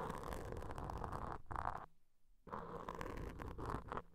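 Wooden toothpicks held in long-nailed fingers scratch, poke and scrape the surfaces of two identical soft, porous black foam microphone covers. The result is a dense, continuous scratchy rustling with a low, muffled rumble underneath. It drops to near silence for about half a second midway, then resumes just as steadily.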